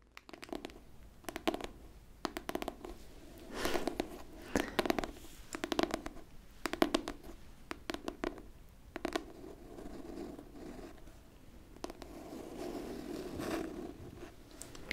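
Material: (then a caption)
Cardboard. Long pink nails scratch and rub across the cover of a closed pink hardcover book held in both hands. Bursts of dry, bright scratching alternate with softer rubbing strokes and sharp little clicks, with a faint low-mid body throughout.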